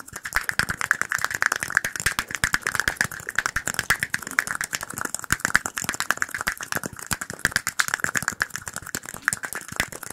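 Fingertips and nails tap very rapidly on a small, empty clear glass cup, making a continuous rattling clink for about ten seconds. Each tap is short and dry with almost no ring, and the taps blur together around a steady mid-high glassy tone near 1.7 kHz with bright sparkle above it.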